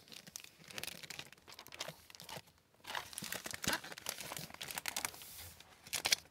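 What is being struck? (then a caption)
Hardcover book with plastic-covered paper dust jacket. Fingertips with long white-tipped nails handle a large hardcover library book, "Dreadnought," with a glossy plastic-covered paper dust jacket, then open it and turn its paper pages by hand. Quiet, bright crinkles and papery rustles come in dense bursts, with a brief pause midway before the page turns resume. A few sharper crackles stand out near the end.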